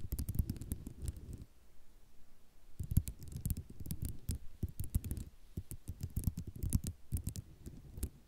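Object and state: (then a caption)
Ceramic mosaic tile sheet. Long nails scratch and tap across a white ceramic mosaic tile sheet, making quick clicking taps and rattly scraping over a low rumble. The sound comes in busy bursts with a short quiet pause after the first second and a half.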